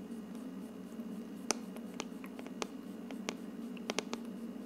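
Fingertips with dark nails scratch down over the hollow, frosted plastic dome of an aroma diffuser. Soft, dry scratches and sharp little clicks rise over a steady low hum, with the brightest taps standing out as distinct ticks and no lingering ring.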